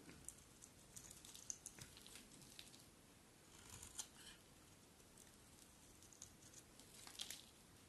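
A metal utility blade scrapes and carves long shavings from the edge of a hand-sized solid bar of dry yellow soap held in the hand. Quiet, bright, crisp scraping and shaving sounds come in short strokes with sharp little clicks over a soft steady hiss, with brief louder bursts near the middle and end.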